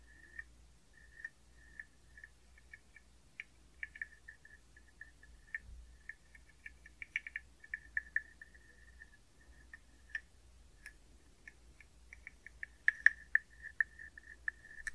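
A hollow carved wooden frog guiro with a ridged back is played by scraping a wooden stick along its ridges, producing a croaking rasp. About 25 short, separate rasps ring around 1.8 kHz, growing louder and denser toward the end, over a faint low hum.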